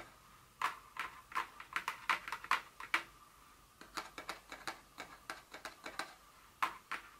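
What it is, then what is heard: Paperboard perfume box. Long nails tap a small printed paperboard Dior fragrance box lying flat on a table, giving about 26 crisp, dry clicks in an uneven rhythm with a short pause near the middle. Each tap is sharp and papery, with a bright, hollow tone centered around 1–2 kHz and almost no ring or low end.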